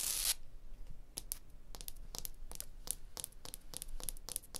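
A fingertip and a long blue nail tap and scratch across a limestone block wall, over the blocks, a crack and a mortar joint. After a brief bright hiss at the start, a run of short, dry, bright clicks and scrapes follows, each dying away almost instantly over a faint low rumble.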